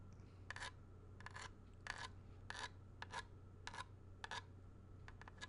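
A thin pointed tool rasps and scratches across the ridged surface of a small, hollow grey plastic video game cartridge with a paper label, held close to the mic. Short, bright, dry rasping bursts come in an uneven rhythm, each with a faint tonal edge around 1.7 kHz. They stop dead with no ring, over a steady low hum.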